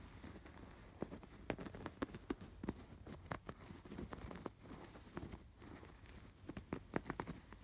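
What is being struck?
Embroidered canvas fabric pillow.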